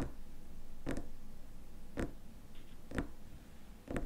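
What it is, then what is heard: Glass cream jar with plastic lid. Fingernails tap the lid rim and glass sides of a small glass cream jar filled with cream and closed with a white plastic lid. Four short, dry clicks land about once per second, each with a bright edge and almost no ring, over a low, steady background hiss.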